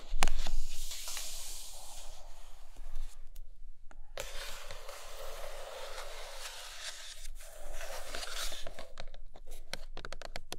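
Long nails scratch the sides of a closed, hollow, large flat printed cardboard iPad Pro box and tap its glossy top. Long stretches of bright, airy scratching are broken by brief pauses and finish with a quick run of light, dry taps.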